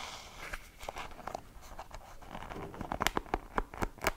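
Fingertips and long painted nails scratch and flick across the wooden pins of a light wooden hairbrush, whose pins sit in a rubber cushion, held close in front of a microphone. A soft, crackly scratching texture gives way to a quickening series of sharp, dry clicks with a bright, woody tick that dies away almost instantly.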